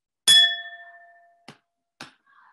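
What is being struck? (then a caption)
Glass wine glass. A spoon taps a wine glass, producing a bright, clear ring with a high tone near 3.4 kHz and a lower tone near 700 Hz that fades over about a second. Two brief, dull clicks follow, then a faint, soft sound.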